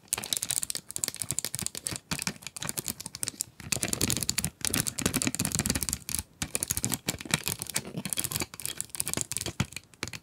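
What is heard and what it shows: Long acrylic nails tap and scratch the clear plastic front window and cardboard of an upright 12-pack coloured pencil box full of wooden pencils. The result is a continuous stream of rapid, crisp, bright clicks and scratchy rustles with a little low thud. Each tap is dry and dies away almost instantly.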